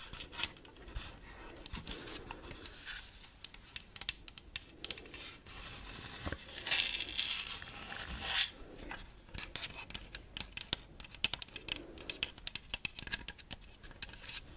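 A hand-sized, hollow, light blue Animal Crossing themed plastic gamepad is tapped and scratched with long burgundy acrylic nails while held close to the mic. Many sharp, bright clicks and dry scraping rasps come in quick, uneven bursts over a quiet, hissy background. Each tap dies away almost instantly, leaving a crisp, close, high-heavy texture with little low end.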